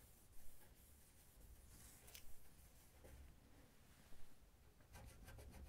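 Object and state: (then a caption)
Stainless steel oven drawer front being wiped. Fingertips hold a paper towel and rub it across the brushed stainless steel lower drawer panel of an oven, a large, flat, hollow drawer front. The result is a quiet, dry rubbing sound over a low rumble, with a few slightly louder, brighter swipes.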